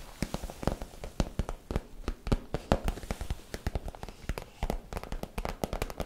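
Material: PVC plastic.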